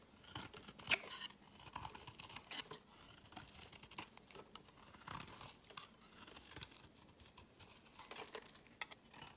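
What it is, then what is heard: Soap bar being carved. A rounded, solid, yellow opaque soap bar resting on a mat is first touched by a hand, then shaved into curls with a utility knife blade. Quiet, bright, crisp scraping and carving strokes follow one another, with a couple of sharper clicks standing out.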